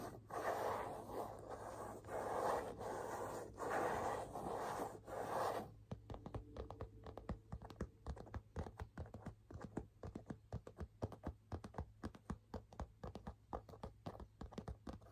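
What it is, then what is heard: Leather handbag. Fingernails scratch and tap the leather front of a hollow burgundy leather half-moon handbag. For the first few seconds a dense, continuous scratching rasp fills the low-mid range, then it gives way to a quick, uneven run of soft, dull taps that die away fast.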